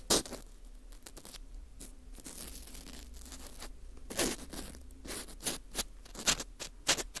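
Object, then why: Dried wheat gluten ring (fu) scraped with a plastic scoop. A porous dried wheat gluten ring (fu) with a hole is scraped inside with a green plastic scoop. The result is dry, crunchy scratching and scraping with bright, crackly bursts. Soft rasping is heard between the sharper strokes.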